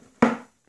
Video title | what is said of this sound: Holbein 1000 & Holbein 500 watercolor palettes. | you can even hear the weight it even sounds solid